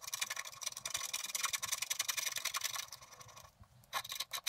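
A wooden stylus scratches the black coating off a flat scratch-art paper card in the grass area with rapid strokes, making a dense, bright, papery rasp of quick repeated scrapes. The scratching thins out and nearly stops for a moment near the end, then picks up again in a few short, sharp bursts.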